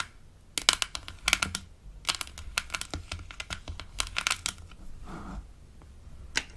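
Long acrylic nails tap and scratch the hollow light-blue plastic lid of a Melissa & Doug Super Smile Dentist Kit toy denture case, which has an embossed smiley and is held in the hand. Quick bursts of sharp, bright clicks stop dead with almost no ring. A short scratchy rasp comes near the end before a final tap.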